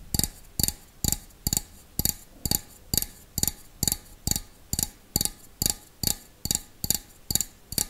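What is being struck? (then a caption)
Stainless steel bowl. A small, hollow, empty stainless steel bowl is held up close while fingertips and nails tap its outside in a slow, steady rhythm. Eighteen separate taps are heard, each a short, bright metallic tick with a soft low thump underneath. Each tap dies away almost at once, leaving only a quiet pause before the next.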